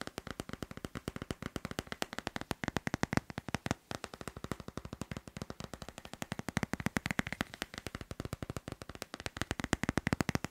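A smartphone in a glossy hard plastic case with a teal leaf print is held in the hand and tapped rapidly on the back with fingertips and nails. About 95 short, dry clicks follow in a fast, uneven stream over ten seconds, with little ring.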